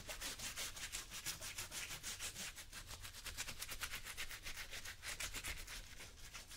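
A small blue bristle brush scrubs a worn brown leather lace-up work boot, worn on a foot over a yellow cloth, in repeated back-and-forth strokes. The result is a fast, steady series of bright, hissy scratching swishes with a faint low rumble underneath.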